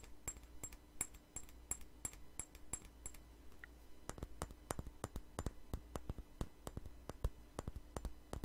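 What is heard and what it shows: Long nails tap and scratch a small glass perfume bottle with a flower-shaped cap, producing a rapid series of short, sharp clicks. The first few seconds carry bright, high glassy pings, and a steady low hum runs underneath throughout.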